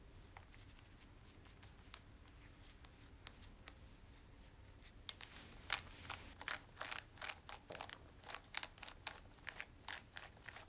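A black plastic TV remote with rubber buttons, held in one hand, is rubbed and wiped with a cloth using the fingertips. Quiet, bright scratchy rubbing and short crisp clicks start sparse, then grow louder and denser about halfway through, over a low steady background hum.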